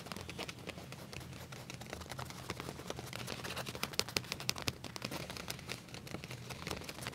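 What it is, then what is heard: Leather trousers tapped and scratched. Fingertips and nails tap and scratch quickly on flat black leather trousers with a back pocket, lying on a surface. The result is a quiet, irregular stream of crisp, bright clicks and scratchy rustles over a soft low hum, with a few sharper taps standing out near the middle.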